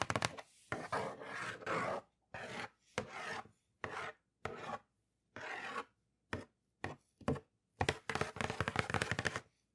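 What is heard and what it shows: Long acrylic nails scratch and tap the printed lid and side of a hollow, closed red Nike cardboard shoebox held up in the air. Short bursts of dry, papery scratching alternate with quick, crisp taps, separated by brief silences. The sound is broadband and bright with a light hollow body and almost no ring.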